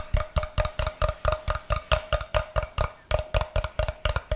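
Fingernails tap and scratch the face of a brick-sized solid block of unfinished light wood held up close. About 21 quick, dry knocks come in a steady, slightly uneven rhythm of roughly two per second, with a brief pause near the three-second mark. Each knock has a deep thud, a short hollow tone in the middle and a faint bright scratchy edge, and dies away almost at once.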